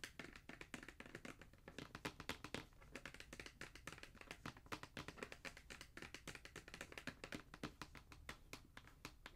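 Fingertips and nails tap on the lid of a black cardboard Jordan shoe box, hollow and held flat. It makes a quick, uneven run of dry taps, about four per second, each a short bright click over a light hollow thump that dies away almost at once.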